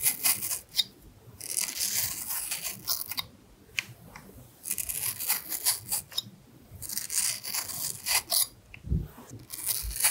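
A carving knife scrapes the skin away between hearts carved into the side of a red apple. Bursts of bright, hissy scraping come in quick runs, separated by short quiet gaps. One duller, lower knock lands near the end.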